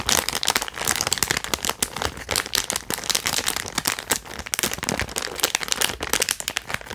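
A small, flat holographic foil-plastic zip-lock pouch with an earbud case inside is held in both hands and crinkled and scratched with fingertips. It makes a dense stream of bright, dry crinkles and crackles with quick sharp snaps that die away instantly, mostly high in tone with very little low end.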